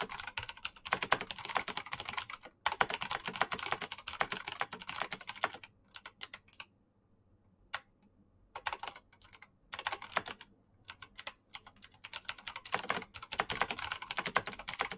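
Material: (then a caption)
Plastic. Fingertips type quickly on the keys of a black plastic mechanical keyboard with clicky switches, producing dense, bright, sharp clacks that stop almost instantly. The typing comes in rapid bursts, broken by a near-silent pause with a lone click midway before fast typing resumes.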